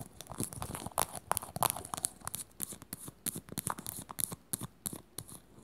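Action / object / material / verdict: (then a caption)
tap / small plastic container lid / plastic / none. A small, round, glossy teal plastic lid, hollow and held in the hands, is tapped and scratched quickly with long natural nails. Rapid, uneven clicks and scratchy strokes follow one another, crisp and bright with a hollow plastic knock. Each hit is dry and stops at once without ringing.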